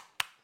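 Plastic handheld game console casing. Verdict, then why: Hollow. A knock on the plastic shell of a Kiztoys retro-gaming handheld game console produces a single short, bright tap that dies away almost instantly. The casing sounds hollow rather than solid and hard, like thin plastic, though it would probably survive a drop.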